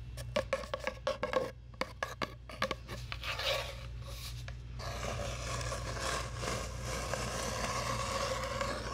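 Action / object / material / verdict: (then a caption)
scrape / cardboard tube / cardboard / none. A long, hollow brown cardboard tube is scratched and rubbed with long nails. Quick, sharp scratches with a hollow, boxy ring open the clip, then give way to a steady, continuous rasping rub over a constant low hum.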